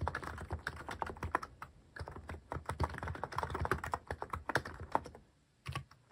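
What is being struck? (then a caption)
Mechanical keyboard with plastic keycaps. Fingertips type steadily on a mechanical keyboard fitted with plastic cat-shaped keycaps, producing a rapid run of short, clicky keystrokes with a low thock and brief bright clatter. The typing pauses briefly near two seconds, trails off just before five and a half seconds, then resumes with a final short burst.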